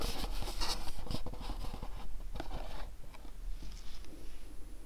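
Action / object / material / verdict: tap / cardboard candle box / cardboard / none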